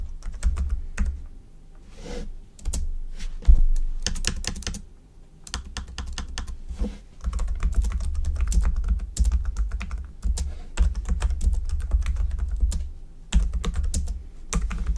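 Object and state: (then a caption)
Plastic computer keyboard being typed on. Fingertips of both hands type steadily on a black plastic computer keyboard, producing rapid, short clicking taps with quick decay. A deep low-end thump sits under the clicks throughout. Brief pauses break up the bursts of typing.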